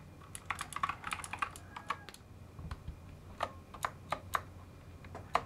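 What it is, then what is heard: Mechanical keyboard with plastic keycaps. Gloved fingertips tap and type on a full-size mechanical keyboard with plastic keycaps on part of it and many switches left exposed, and a second hand joins near the end. The sharp, short clicks come in a quick flurry in the first two seconds, then slow to spaced single taps. The keystrokes are crisp, with a bright click over a low background hum.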